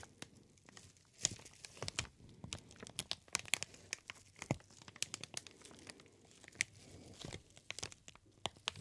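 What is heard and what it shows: A large sheet of green plastic air-pillow packaging film, with many small hollow, air-filled cells, is held in both hands near the face and ear and squeezed and crumpled with the fingers. It gives a quiet, bright, dense crinkling, with sharp crackling snaps and rustles that start and stop in uneven bursts.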